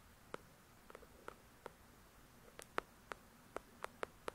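Long pointed nails tap and scratch the glossy card cover of the paperback novel "The Shack," a solid paper book, heard close up. About eleven sharp, dry clicks land at an irregular pace, each centered in the mid range around 1.3 kHz with a bright edge and almost no ring. Faint scratching sits between the taps against a quiet background.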